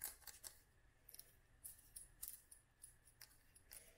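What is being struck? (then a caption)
Small glass dropper bottle filled with oil. Long nails tap a small clear glass dropper bottle filled with oil and dried flowers, making a quiet series of quick, bright, clicky taps. Each tap dies away almost at once over a faint low rumble.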